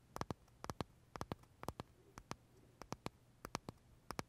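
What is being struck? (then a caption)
Pistachio macaron with crisp meringue shell. Short fingernails tap and scratch the crisp shell of a large pale green pistachio macaron held edge-on near the mouth. Quiet, sharp, dry clicks come in quick clusters of two or three, repeating steadily with no ring between them.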